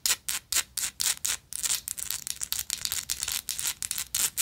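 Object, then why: Small textured metal lighter. Long nails scratch and tap a small, hollow, gold-tone textured metal lighter. It makes bright, hissy rasping strokes with almost no low end. Slower, separate strokes give way after about a second and a half to quicker, denser scratching.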